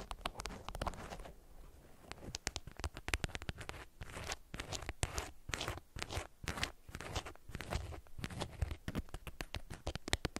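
Long nails scratch and crinkle the twisted ends of a bundled beeswax-coated cotton wrap. The result is a quiet, close run of dense, dry crackles and scratchy rasps, with bright crisp edges over a soft low rumble.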